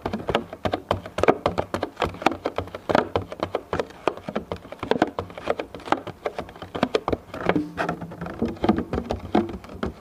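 A medium, thin, clear plastic food container, hollow and empty, is held in both hands while fingertips tap rapidly on its top surface. The result is a dense, steady patter of short, dry, hollow clicks centered around 380 Hz, each dying away almost instantly.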